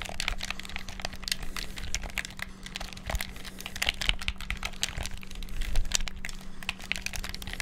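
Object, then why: Plastic game controller buttons. Fingertips rapidly press the shoulder and face buttons of a black, hollow plastic gamepad. The result is a dense, continuous stream of sharp, bright plastic clicks and taps that stop almost instantly, over a steady low hum.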